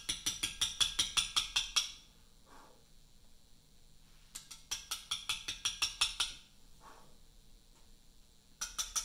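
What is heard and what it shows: A metal chisel, struck with a round mallet, chips a large solid Portland limestone memorial block. About 24 sharp, bright, clicky taps come in quick bursts, with quiet pauses between them. Each tap dies away almost at once.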